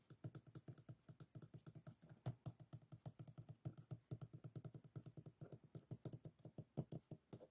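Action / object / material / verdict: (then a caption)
tap / closed bamboo folding fan / bamboo / none. Fingertips tap and scratch along the closed ribs of a folded bamboo hand fan with bamboo guard sticks resting on a table. About 55 quick, soft, dry clicks come in a steady, uneven patter. Each is low and dull, dies away almost instantly, and carries little brightness.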